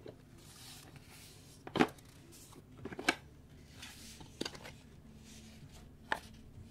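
Fingertips and nails tap and scratch the wooden sides of a small, hollow, light-wood box with a metal latch, held in the hands with its contents not visible. Soft, bright scratching rustles continue underneath, broken by a few sharp, dry knocks that die away almost instantly, with a hollow woody tone around 250 Hz.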